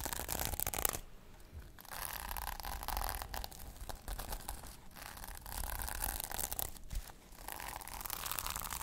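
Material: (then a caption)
Plastic. Long painted nails scratch and brush back and forth across a small rectangular notebook held in hand, its cover covered in pink and silver reversible plastic sequins. Bursts of bright, crackly rustling alternate with quieter scraping passes, over a low rumble underneath.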